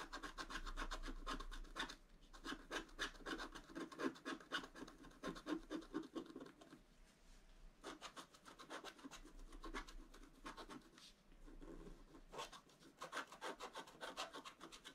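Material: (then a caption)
Coated paper. A wooden stylus scratches rapid, dense strokes across the centre of a black-coated scratch-art paper page held flat. The result is a continuous run of quick, dry scratching bursts, about four per second, with brief pauses near the 2, 7 and 12 second marks.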